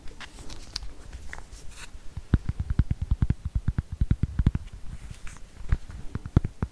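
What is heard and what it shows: Fingernails tap and scratch the plastic back and sides of a solid, handheld black plastic smartphone. Soft, bright scratching in the first two seconds gives way to a rapid series of short, dull, low-pitched taps that stop almost instantly, with faint scratching between them.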